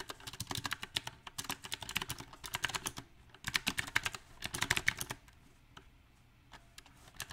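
Fingertips type on a backlit compact mechanical keyboard with round typewriter-style plastic keycaps on a silver metal frame. Quick, bright, clacky keystrokes come in uneven bursts, pause briefly around three seconds, surge again, then thin out to a few scattered taps near the end.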